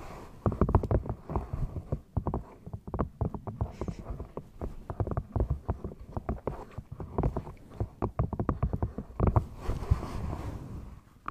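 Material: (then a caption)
Rubber. Long nails tap and scratch the textured rubber of a single dark grey Speedo swimming flipper with a hollow foot pocket, held in front of the mic. The result is a rapid, irregular run of short, dull, low-pitched thuds with soft scratchy rustling between them and almost no ring.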